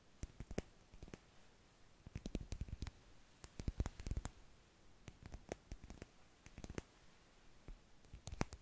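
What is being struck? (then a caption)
Plastic dish brush with stiff bristles. Fingertips and nails scratch the dense, stiff plastic bristles of a blue plastic dish brush with a long, curved solid handle, held in both hands above the mic. Quiet, dry, crackly scratches and clicks come in irregular bursts with short pauses, each sharp and instantly damped. The energy sits mostly low, with faint bright ticks on top.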